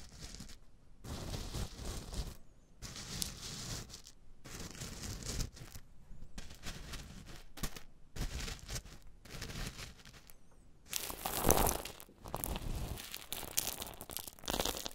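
Two silicone spatula handles, one green and one pink, push, scrape and stir a bed of loose, coarse pink Himalayan rock salt crystals. The result is bursts of gritty, crunchy rustling and grinding separated by brief silent pauses, with the loudest, brightest scrape coming near the end.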